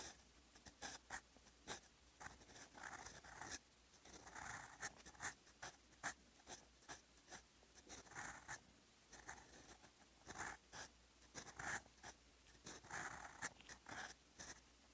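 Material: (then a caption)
Paper. A steel fountain pen nib in blue ink writes on a lined paper notebook page, scratching across the sheet. Short, crisp scratches come in quick bursts with soft, airy strokes and brief pauses between them, bright and close against a quiet background.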